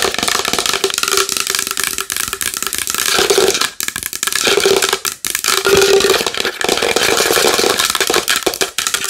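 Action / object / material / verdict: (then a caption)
tap / large wooden bowl / wood / none. A large wooden bowl is tapped fast and hard with long nails, producing a dense stream of bright, clicky knocks. A faint hollow tone around 390 Hz rings under the taps, which stay steady and loud throughout with only brief dips.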